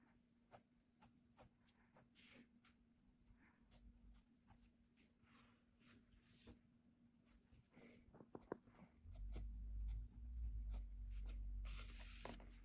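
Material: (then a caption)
Paper. A blue mechanical graphite pencil scratches detail lines across a flat cream paper sketchbook page while drawing, making quiet, short, fairly regular scratchy strokes over a steady low hum. About two-thirds of the way through, a loud low rumble rises and continues to the end beneath the brighter pencil scratches.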